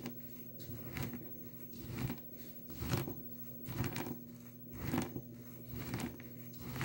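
Finely crumbled dry blue soap in a small clear plastic tub is ground and crushed with the glass base of a nail polish bottle. The result is a soft, dry, gritty crunching and crackling that rises and falls in slow, roughly once-per-second swells. The sound is mostly low and muffled, with faint bright grit on top.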